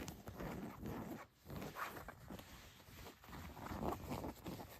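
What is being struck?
Denim jeans fabric.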